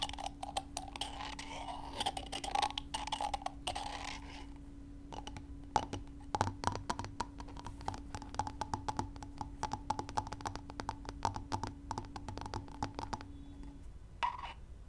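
Two brown chicken eggs with a broken spot are knocked together, tapped and scratched with long nails, making rapid dry clicks and taps with a hollow tone around 860 Hz. The first four seconds carry a bright, rough scratching over the taps, and a steady low hum runs beneath until near the end.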